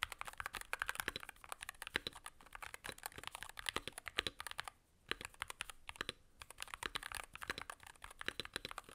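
A Varmilo Muse65, a 65% mechanical keyboard with a blue aluminum case, plastic keycaps and magnetic switches, is typed on quickly with the gloved fingertips of both hands. Dense, bright, sharp clicks with almost no low end and no ring run in a steady stream, broken by two brief pauses near the middle.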